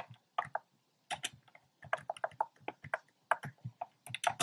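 Fingertips with short nails type on a compact plastic mechanical keyboard with a black plastic case and round pink, red and cream plastic keycaps. A quick, uneven run of sharp, clicky keystrokes comes in small bursts, each with a dull low thock under a bright clack. The clicks stop dead with almost no ring.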